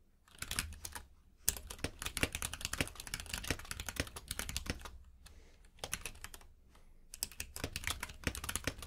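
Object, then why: Mechanical keyboard with plastic keycaps. Two-handed fingertip typing on a compact mechanical keyboard with plastic keycaps produces rapid, crisp clacks with a bright top and a low, hollow thock beneath each keystroke. The typing comes in quick bursts separated by short pauses, with each keystroke ending sharply and leaving no ring.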